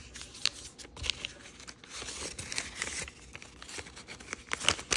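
Fingertips fold a small, thin, multicolor rainbow origami paper sheet with a red back and rub its creases flat. The result is a bright, crisp crinkling and papery rustle, broken by short sharp snaps and soft swishes.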